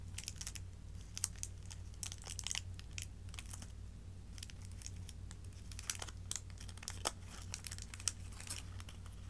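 A small, twisted, clear plastic wrapper around a single Jolly Rancher hard candy is held between the fingertips of both hands, which have long dark nails, and is twisted and crinkled while being unwrapped. Sharp, bright crackles and crinkles come in quick bursts over a steady low hum, and each snap dies away almost instantly.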